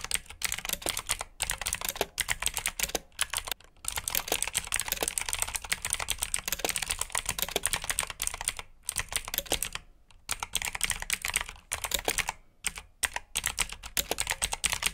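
Fingertips type fast on a black plastic backlit mechanical keyboard with blue switches, producing a dense stream of sharp, bright clicks. Each keystroke is short with almost no ring, and the typing pauses briefly a few times before resuming.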